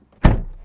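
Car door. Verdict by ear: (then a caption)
Solid. An Audi RS5 Competition car door is closed from the inside, giving a single deep, solid thunk that fades quickly. The sound is heavy and low with almost no high-frequency content.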